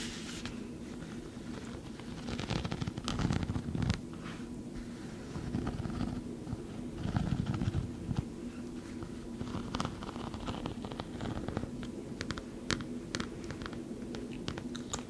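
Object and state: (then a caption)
Foam toy football. A small, soft white foam toy football with blue stripes is scratched and rubbed with long nails and fingertips. The result is a continuous soft, low rustling with dense crackly scratches and brief sharp ticks. The sound swells louder around 2–4 seconds and 7–8 seconds.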